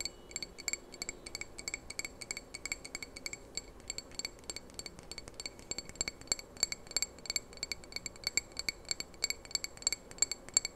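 A small hollow red glass candle jar with a lit candle inside is held in the hands close to the microphone and tapped rapidly with fingernails. Dozens of quick, bright glassy clinks with almost no ring sound over a faint low rustle, getting slightly louder and sharper toward the end.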